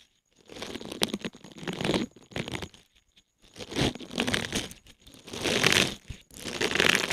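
A small, thin, solid green silicone scrubber pad covered in flexible bristles is held in both hands above the mic and bent, squeezed and rubbed with the fingertips, flexing the bristles. This produces bursts of bright, crinkly, scratchy rustling separated by short pauses.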